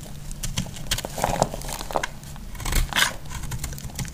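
A metal utility blade cuts and scrapes a solid orange bar of soap, making crisp, dry scratching and crunching sounds with short bright crackles over a low background rumble. Pieces crumble off the bar as the blade works through it.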